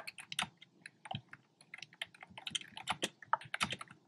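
Fingertips with short nails tap the hollow, round retro-style plastic keycaps in cream, pink and red on a black plastic keyboard. About two dozen quick, irregular clacks sound over four seconds, each short and bright with a hollow plastic knock and almost no ring.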